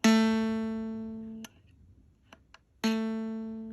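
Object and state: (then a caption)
Misaligned harmonica reed clicking in its slot. A misaligned brass harmonica reed is plucked twice to check its alignment in the slot, each pluck giving a bright tone near 223 Hz that rings and decays. Faint clicks are heard between the plucks where the reed catches its slot instead of ringing clearly, so the reed is then to be shifted left with a reed wrench.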